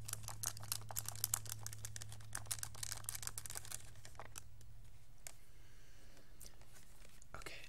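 A pink plastic graphing calculator is held in both hands and tilted at times while fingertips tap and press its keys. A rapid run of short, bright plastic clicks fills the first four seconds, then thins to a few scattered taps, over a steady low hum.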